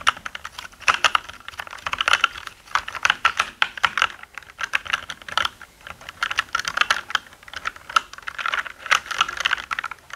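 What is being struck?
Mechanical keyboard with plastic keycaps.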